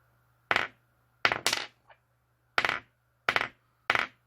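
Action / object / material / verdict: drop / alkaline battery dropped on a hard surface / metal / used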